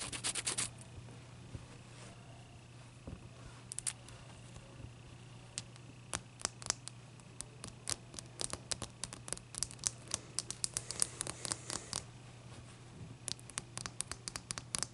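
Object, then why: Large block of ice. Long dark nails scratch and tap the sides of a large, clear, solid ice block resting on a towel. Dozens of sharp, bright clicks and short scratches come in irregular bursts over a steady low hum. The taps are crisp and dry, dying away almost instantly.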